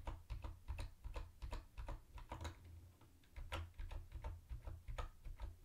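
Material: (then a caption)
Plastic. Fingertips type quickly on a mint-green plastic typewriter-style keyboard with round white plastic keycaps and a hollow body. Short, bright clacks come in an uneven rhythm, with a brief lull around the middle. A steady low hum sits underneath throughout.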